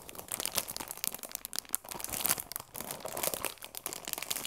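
The cellophane wrap on a cardboard tea box is pressed and crinkled with fingertips and long nails. The result is a dense, bright, crisp crackling with almost no low end, rising and falling in irregular bursts throughout.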